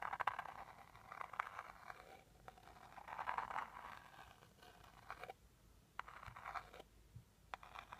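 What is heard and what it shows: A small teal rigid cardboard jewelry box is held up while a white pointed stick rapidly scratches and taps its front face. Dry, papery scraping comes in bursts centered around 1 kHz, broken by sharp, bright clicks from the taps, with quiet gaps between the strokes.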